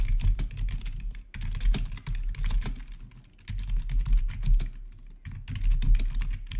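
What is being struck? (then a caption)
Plastic computer keyboard. Fingertips rapidly type on a black plastic, RGB-backlit gaming keyboard with a hollow housing. Bursts of quick, clacky key taps come in runs with short pauses between them, over a steady low hum.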